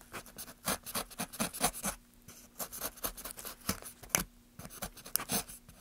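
Gloved hands make short scraping cuts with a small carving knife along the rounded carved ridges of a solid, light pine softwood plank, with shavings around it. About thirteen quick, bright, dry scrapes come in uneven bursts with no ring after each, over a faint steady low hum.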